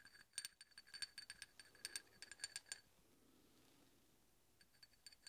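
A large solid steel hex bolt, held upright, is tapped and scraped with the tip of a steel drill bit. A quick run of bright, short metallic clinks rings with a steady tone near 1.6 kHz and higher overtones, stops for a quiet stretch, then returns with a few more light taps at the end.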